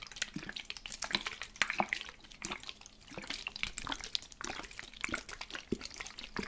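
A plastic spray bottle holding water is shaken throughout, giving continuous bright sloshing and splashing with quick liquid slaps. The water moves back and forth in steady bursts with a quieter dip in the middle, showing the bottle is filled with liquid.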